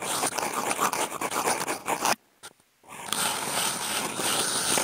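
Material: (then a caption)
Cardboard. Wooden toothpick tips fitted with clipped-on contact mics are scraped across a flat brown corrugated cardboard sheet, producing a dense, bright, crackling scratch. The scraping stops abruptly for about half a second, with only a faint tick in the silence, then builds back up and continues to the end.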